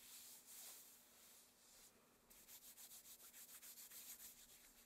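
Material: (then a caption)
Satin. Hands in long, thin black satin opera gloves rub and slide over a forearm and against each other. A soft, continuous bright swish for the first two seconds becomes a quick run of rhythmic brushing strokes, about three or four per second. The hiss stays quiet and airy, with a faint steady low hum underneath.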